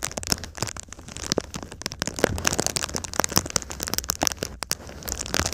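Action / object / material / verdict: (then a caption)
scrape / foil-faced foam sheet / foil and foam / none. A silver foil-faced foam insulation sheet is held up in a V shape while fingertips and nails scratch and rub across its foil surface. It makes a dense stream of bright, crackling, crinkly scratches with sharp, quickly fading ticks over a soft low rumble.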